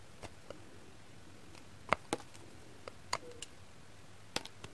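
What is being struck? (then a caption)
Glycerin soap bar scraped with a knife. A pink kitchen knife blade shaves a hand-sized, heart-shaped bar of solid translucent pink glycerin soap in quick scraping strokes. About eleven short, sharp, bright scratches and clicks come at irregular intervals over a quiet, faint background. Each one stops almost instantly, with no ring.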